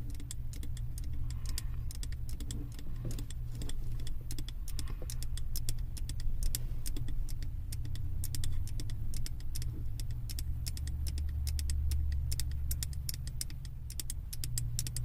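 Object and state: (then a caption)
Glass candle jar. Long nails tap rapidly on the glass sides of a large glass candle jar, filled with solid wax and carrying a printed label, held in both hands. Quick, bright, clicky taps run throughout over a steady low rumbling hum.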